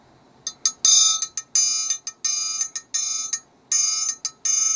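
A small hand-held steel triangle, a solid metal rod bent into a triangle shape, hangs from one hand and is struck fifteen times with a thin metal beater in an irregular, rapid pattern. Each strike gives a bright, high metallic ring. Some rings are choked off quickly and others are left to sustain before the next hit.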